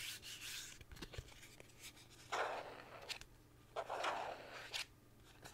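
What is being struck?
Thin plastic card.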